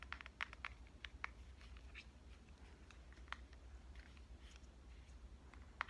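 A pink compact digital camera with a metal and plastic body is held upright while fingernails tap on the front of its body. Quiet, sharp clicky taps come in irregular bursts, ending almost instantly, over a steady low hum.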